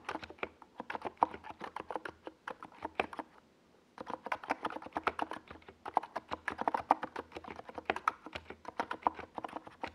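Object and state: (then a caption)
Plastic mechanical keyboard being typed on. Fingertips of both hands type fast on a NiZ Plum Atom 68, a compact 68-key mechanical keyboard with a white plastic case and purple and yellow Domikey Gas Attack SA plastic keycaps, resting on a desk pad. A rapid stream of short, sharp plastic clacks centered around 940 Hz dies away almost instantly after each stroke. The typing pauses briefly a little past the three-second mark, then resumes at the same quick pace.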